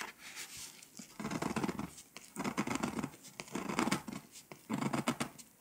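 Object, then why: Foil-coated paper scratch-off map. A pink scraper scratches across the foil coating of a flat paper scratch-off map in fast strokes. Bursts of dry, rasping scratches come in uneven runs with short pauses between them, with a mid-range body and bright edges.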